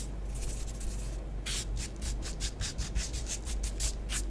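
Long nails on both hands scratch and rake quickly through orange bath bomb powder on a flat grey tray, making many short strokes. It starts as a soft, hissy rubbing, then turns into a rapid run of bright, gritty scrapes over a steady low hum.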